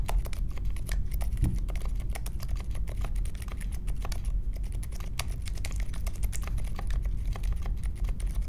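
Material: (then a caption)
Plastic. Fingertips type steadily on the plastic keycaps of a compact mechanical keyboard with a metal case, resting on a marble desk. The keystrokes are soft, muted clicks and thocks with a low, dull body and almost no ring. They come in a fast, continuous patter throughout.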